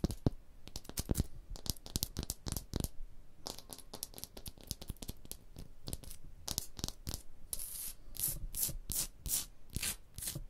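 Long blue nails scratch along the ridges of a rough, porous, striated stone block wall. A dense run of short, dry, broadband scraping strokes follows one after another, with no ring after each stroke.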